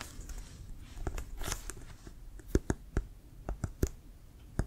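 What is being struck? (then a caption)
Leather American football. Fingertips and nails tap and scratch on the printed leather of a brown Wilson leather American football, hollow and inflated, held in both hands. Soft, bright scratching and rustling in the first half gives way to sharp, hollow taps with a deep low thump that die away almost instantly.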